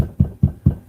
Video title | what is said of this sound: Joshua Alexander is Making live! - Moderator gift | if you hit this, right, you can hear that because it's hollow